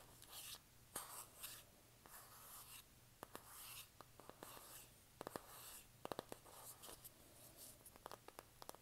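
Long nails scratch and tap on the cover of a hand-sized, flat rectangular pink printed cardboard eyeshadow palette (BH Vanilla Cream Truffle). Quiet, bright, papery scratching swells come and go, broken by many sharp, dry taps that stop instantly. The taps cluster more closely in the second half.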